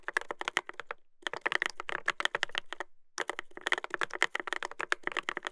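Fingertips type continuously on a Dolphin 2021 mechanical keyboard with a brass plate and plastic keycaps. The result is rapid, sharp, clacky keystrokes centered around 2 kHz, with brief pauses near 1 and 3 seconds. Each keystroke stops almost instantly.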